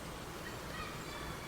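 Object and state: Nothing is struck.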